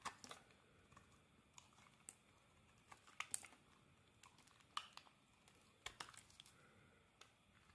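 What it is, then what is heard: Bar of soap being carved. A metal blade scrapes curled shavings off the edge of a solid cream soap bar held in the hand. About twenty quiet, bright, crisp scrapes and crinkly clicks come at irregular intervals, each stopping almost at once, with very little low end.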